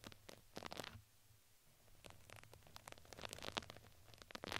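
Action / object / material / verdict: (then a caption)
scrape / fuzzy fabric crinkle ring brushed with a plastic bristle brush / fabric / none. A plastic spoolie brush is brushed across the fuzzy side of a red fuzzy fabric crinkly ring fitted around a microphone head. Soft, scratchy, bright brushing strokes come in close bursts with faint crinkles, a quieter pause in the first half, and busier, louder scratching toward the end.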